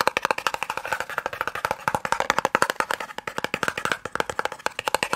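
A small, hollow white and red cardboard eye drops box is fast-tapped with the fingertips and nails. About 46 quick, dry taps land over five seconds, each with a hollow mid-range knock around 535 Hz, a little bright click, and almost no ring or low end.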